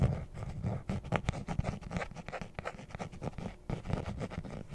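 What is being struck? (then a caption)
Hard-shell zippered case. Long nails scratch and tap across the top and face of a closed, hollow, rectangular black hard-shell zippered case, likely catching the zipper edge too. The result is a dense, irregular run of dull, low, muffled scratches and short knocks with very little brightness and almost no ring.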